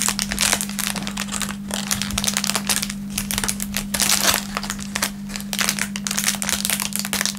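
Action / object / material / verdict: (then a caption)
scrape / thin plastic film wrapper / plastic film / none. An empty, thin clear plastic film packaging bag is crinkled and stretched between the fingertips of both hands. It makes a continuous stream of bright, dense crackling and rustling with short, sharp bursts. A steady low hum runs underneath throughout.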